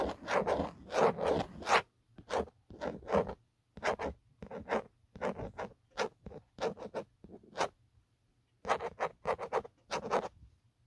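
A fingertip and nail scratch the textured hard plastic back of an empty black Otterbox phone case. The result is a series of short, dry scratching bursts with a bright rasp, coming in uneven clusters separated by brief silences.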